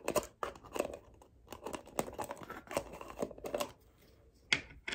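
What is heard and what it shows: Long painted nails quickly tap and scratch a small, round, dark plastic jar of body butter with an orange-brown screw lid, which seems to be full. The result is a rapid string of dry, bright clicks and scratchy rustles with almost no low end, each dying away at once. A sharper, brighter tap stands out near the end.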